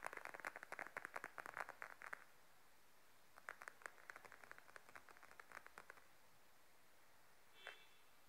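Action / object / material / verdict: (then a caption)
tap / patent leather wallet / patent leather / none. Long nails tap quickly across the top of a small, closed, glossy beige patent leather wallet lying flat on a table. Two bursts of rapid, dry, clicky taps are separated by a short pause, followed by a single brighter tap with a brief ringing tone near the end.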